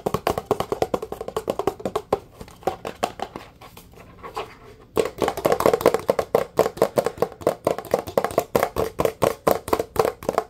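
Fast, sharp taps with fingertips and nails on the side and base of a blue plastic Dawn dish soap bottle held close. The hollow plastic knocks center around 490 Hz, and each dies almost instantly. The tapping turns softer and sparser for a few seconds in the middle, then resumes in a quick, steady rhythm.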